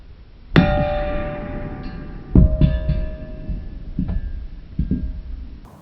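A hammer strikes a ringing-rock boulder five times, each blow giving a loud metallic clang with bell-like tones. The first strike rings on with steady, clear partials that slowly fade over about two seconds. The later hits, two of them close together, ring shorter and quieter.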